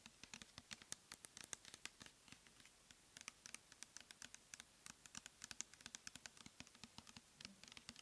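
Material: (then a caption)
Plastic. Long nails rapidly tap and scratch a clear plastic pump bottle filled with cleansing gel. The result is a quiet, quick patter of dozens of sharp, bright clicks with dry scratching between them, each tap stopping almost instantly with no ring.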